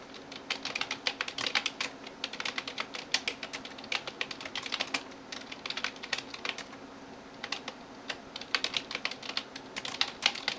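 A hand types rapidly on a backlit plastic computer keyboard with fingertips and nails. The result is a dense, quiet stream of short, bright clicky taps that fade almost at once, with a brief lull around the seventh second before the typing picks up again.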